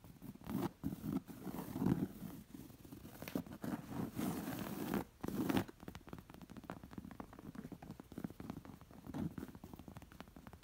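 Long painted nails and fingertips scratch and trace the raised floral thread embroidery on a round, soft, stuffed cotton pillow with pink fringe. Soft, dry scratching and rustling come in swelling bursts in the first half, then turn into rapid, finer scratches that stay quieter. The sound is muffled and low, with almost no bright edge.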